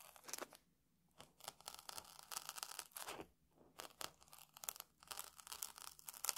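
A metal tool held in the fingers scratches and picks at the dry puffed grains of a round puffed rice cake on a table. Quiet, bright, crisp crackling and tearing crunches come in quick bursts, with short silent pauses in between.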